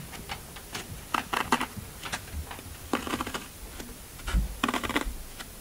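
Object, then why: Floral foam block. Fingertips press and poke dimples into the top of a large, solid, rectangular block of green floral foam (Oasis) resting on a black table. Short, dry, crunchy crackles come in quick clusters with bright, brittle edges, a few soft low thumps and almost no ring after each press.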